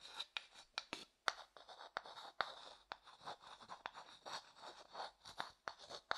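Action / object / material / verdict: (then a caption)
scrape / small wooden bowl scraped and tapped with a wooden stick / wood / none. A wooden stick held in the fingers scrapes and taps inside a small, empty, light-coloured hollow wooden bowl. Dry, bright scratching alternates with sharp clicks that die away almost at once, about fourteen distinct taps in all.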